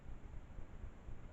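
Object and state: Nothing is struck.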